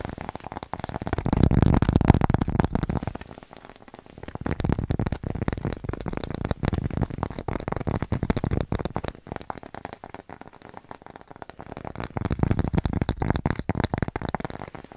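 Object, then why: Thin cork coaster. Long nails tap and scratch fast on a thin, flat, solid square cork coaster held close to the mic. The result is a dense, irregular stream of dull, soft, low-heavy clicks and rustling scrapes with almost no ring. It swells louder near the start and again toward the end.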